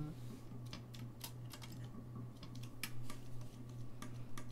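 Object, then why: Brass saxophone keys. Fingertips press and tap the keys of a hollow, gold-lacquered brass saxophone, producing rapid, bright clicks. The clicks are short and scattered over a steady low hum.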